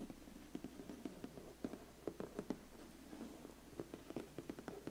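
Fingertips and nails tap and scratch the lid of a closed, large, flat, black, glossy cardboard biscuit gift box. Around fourteen quiet, short, dull taps land irregularly over a soft, continuous scratching rustle, with the sound sitting mostly in the low-mid range and little brightness.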